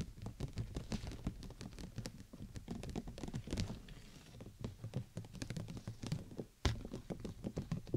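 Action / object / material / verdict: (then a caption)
tap / clear plastic umbrella canopy / plastic / none. Long nails tap rapidly on the top of a large, hollow, clear plastic (PVC) bubble umbrella canopy, near the tip, with the dome placed over the microphone. The result is a dense patter of short, dull, low thuds with a brief bright click on each, dying away almost at once. A short quiet gap near the end is followed by one sharper, louder tap before the tapping resumes.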